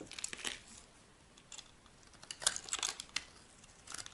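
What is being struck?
Bar of soap.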